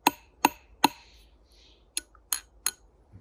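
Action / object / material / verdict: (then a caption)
tap / steel piton tapped with a steel carabiner / steel / solid. A carabiner taps a fixed steel piton six times, each a sharp, bright metallic tick with a clear ring near 900 Hz that dies away almost at once, in two groups of three. The steady pitch marks the piton as solid and strong enough to trust.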